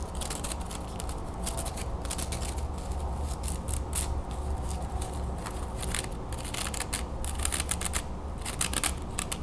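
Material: Wood.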